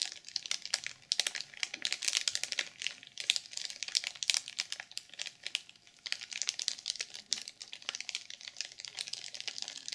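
Long purple nails tap rapidly on a black sequin journal sealed in clear plastic film. The result is a dense, uneven stream of quick, bright crinkly clicks and scratches with almost no low end, each tap dying away almost instantly.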